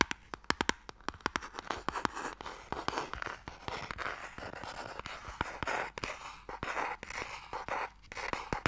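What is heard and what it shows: Fingernails scratch along the engraved lid of a closed, hollow wooden Mikado box, close to the mic. Dry, scratchy scraping in the mids is broken by many sharp little clicks and taps, with bright edges and almost no low end.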